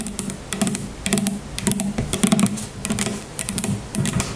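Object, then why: Partly filled plastic shampoo bottle. Long nails tap quickly on the sides of a tall, grey, partly filled plastic shampoo bottle standing on a table. The result is bursts of fast, clicky taps over a low, hollow tone that dies away almost at once.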